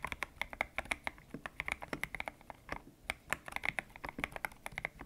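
Fingertips type on a white-cased mechanical keyboard with grey and pink PBT plastic keycaps, its hollow case resting on a desk mat. About 32 quick, separate keystrokes come in an uneven rhythm, each a bright, crisp clack with a slight tonal ring near 1.8 kHz and almost no low end. Each one dies away instantly.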